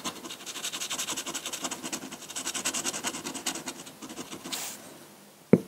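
A metal dip pen nib scratches dense hatching onto a large flat sheet of white drawing paper, making a rapid run of short, bright, rasping strokes. Near the end the scratching fades, a brief airy swell rises, and the clip closes with one sharp, loud tap.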